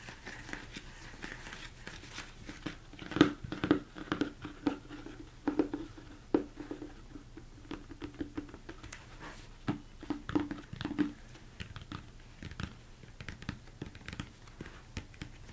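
Fingertips tap on the sides and top of a large, hollow, empty plastic mixing bowl turned upside down. The taps come in soft, irregular bursts, each a short, dull knock with a hollow tone near 300 Hz that dies away almost at once, over a quiet background.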